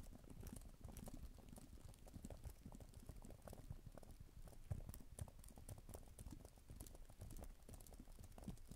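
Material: Plastic.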